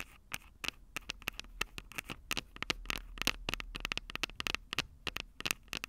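Long purple nails rapidly tap the small, hollow, silver metal microphone capsules of a Tascam DR-05 recorder. The result is a dense run of sharp, bright clicks and scratchy ticks with a metallic tone around 2.6 kHz. Each tap dies away almost at once over a faint low hum.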